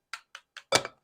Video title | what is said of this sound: Wild and Farmed Oysters - what are the differences. PEI oyster breakdown. | they all sound pretty solid which means they're good and whole